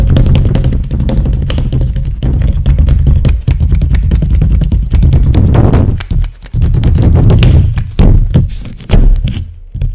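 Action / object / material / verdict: scrape / inflated latex rubber glove / latex / none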